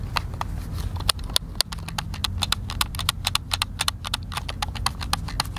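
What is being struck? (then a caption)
Plastic game controller. A white, hand-sized, hollow plastic Xbox controller is held in both hands while fingertips and thumbs press and click its buttons. A quick, irregular stream of short, sharp, bright plastic clicks comes through, each dying away instantly, over a steady low rumble underneath.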